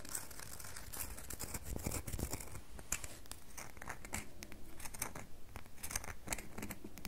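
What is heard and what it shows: Long fingernails dig into and scratch the top of a solid red bar of soap held in the palm, sending shavings falling. A dense run of quick, crisp, bright scratching and scraping strokes continues steadily over a low, quiet background.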